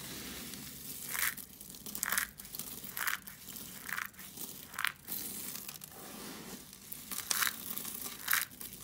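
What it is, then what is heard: Dry soap flakes. Mixed-colour dry soap shavings on a foil sheet are grabbed and crushed in both fists by hands with long nails, crunching the brittle flakes. Bright, crisp crunches come in irregular bursts roughly once a second, separated by quieter crackling and rustling.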